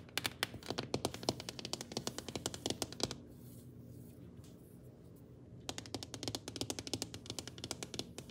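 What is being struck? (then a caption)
Glass-ceramic cooktop surface. Long painted nails tap and scratch on a large, flat, solid black glass-ceramic cooktop with burner rings. Rapid, bright, clicking taps come in a dense burst for about three seconds, then a quiet stretch of low background hum, then another quick run of taps to the end.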